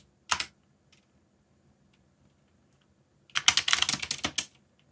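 Fingertips type on a backlit mechanical keyboard with black plastic keycaps. A single short clack is followed by about three seconds of near silence, then a rapid, uneven flurry of bright, clicky keystrokes lasting just over a second.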